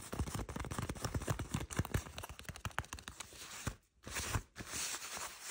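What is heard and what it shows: Long manicured nails and fingertips scratch and rub the smooth surface of beige faux-leather shorts being worn, near a visible seam. Dense, crackling scratches and rubs repeat in quick succession, with low thuddy body and a bright hiss, broken by a brief near-silent pause partway through.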